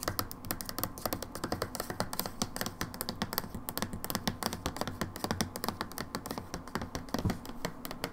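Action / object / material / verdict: tap / plastic hand soap bottle / plastic / none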